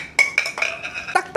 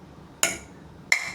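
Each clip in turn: First: hard polycarbonate yo-yo with a brittle, cracking sound. Second: POM (Delrin) plastic yo-yo, damped bouncy impact.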